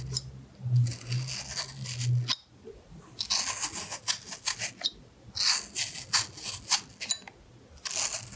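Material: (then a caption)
Apple flesh. A small knife scrapes and peels the skin from the side of a carved solid red apple held in one hand. Bright, crisp scraping and shaving strokes come in irregular bursts, with a low hum underneath for the first two seconds.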